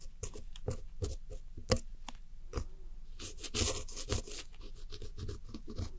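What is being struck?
Pressed powder eyeshadow in a plastic compact.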